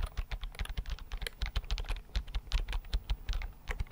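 A slim white plastic computer keyboard, held in both hands, is tapped quickly with fingertips over four seconds. The result is a rapid, uneven run of soft key clicks, each a short dull low thump with a brief bright tick on top and almost no ring.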